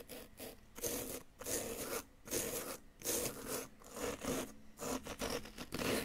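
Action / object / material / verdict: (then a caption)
scrape / plaster dig-kit block scraped with a wooden chisel / plaster / none. A solid yellow-green plaster dig-kit excavation block is scraped repeatedly in close-up with a flat wooden chisel. Short, gritty, bright rasping strokes come in bursts with brief pauses between them. Each scrape cuts off quickly with little ring.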